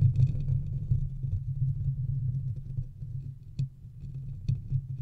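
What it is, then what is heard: Metal microphone grille and body being scratched. Fingertips and nails scratch the metal mesh grille of a large silver metal USB condenser microphone on a stand, then move on to its body. The result is a dense, rough, low rumbling scrape with two brief, brighter clicks near the end.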